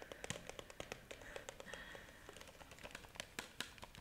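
Long nails tap a clear plastic jar with a red plastic lid, filled with pink pieces, striking both the jar body and the lid close to the microphone. About two dozen quick, dry, bright clicks come in an uneven rhythm, each dying away almost instantly, with a faint mid-high tone under some stretches.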